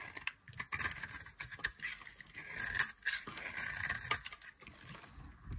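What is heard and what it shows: A solid bar of dry mint-green soap, held in long-nailed fingers, is carved with a metal blade. Bright, crisp scraping and cutting sounds come in a series of short strokes and flakes, with quiet gaps between bursts.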